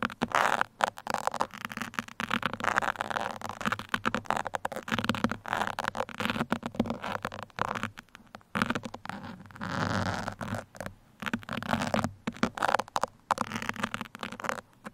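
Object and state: Foam microphone windscreen scratched with pins.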